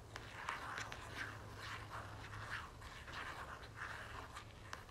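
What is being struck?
Soft plastic lotion tube.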